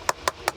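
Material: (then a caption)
Sandstone. Three sharp taps on a weathered sandstone block in a historic facade give a short, hollow clack centered near 1 kHz that dies away almost instantly. The hollow sound shows the stone has delaminated: it has separated from its base into a complete shell, with a visible crack, and the piece even moves. It cannot be restored and must be replaced.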